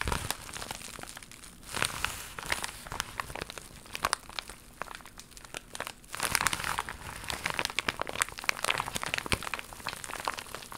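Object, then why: Plastic foil mailer pouch. An empty, flat holographic plastic mailer pouch, iridescent green-blue with a croc-embossed plastic/foil surface, is held in both hands and scratched and crinkled with long pink acrylic nails. Dense, bright crinkling and crackling fill the clip as a steady stream of sharp, quickly fading scratches. There are a few louder bursts near 2 and 6 seconds.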